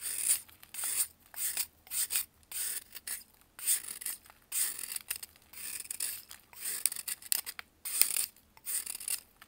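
A metal knife scrapes the surface of a solid white pressed baking soda block held in blue-gloved hands, shedding powder. The clip is a series of short, bright, gritty scraping strokes separated by brief pauses, with almost no low end.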